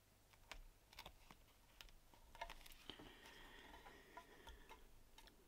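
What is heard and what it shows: Two thin, flat, tan vegetable-tanned leather panels for a small card holder lie on a stone surface while fingertips and a thumb press and rub the glued layers together and lift the edge. Quiet, dry, short taps and clicks scatter irregularly, with a steadier soft rubbing texture in the middle. Each sound dies away almost immediately.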